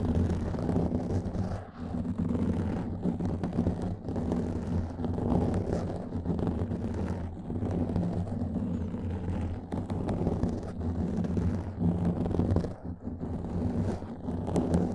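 Fingernails scratch a black foam microphone windscreen, producing a steady, dense, muffled rustling that fills the low end with a deep rumble and has almost nothing bright on top. The scratching runs continuously with brief dips in loudness.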